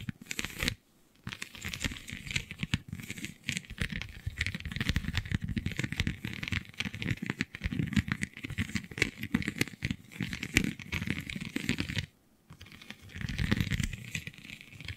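Long nails scratch across the raised scale-like bumps of a flexible, iridescent holographic vinyl sheet, making dense, crackly, crinkling scratches with bright, papery highs and a rumbling low body. The scratching runs almost without pause, stopping only briefly near the start and again about three seconds before the end.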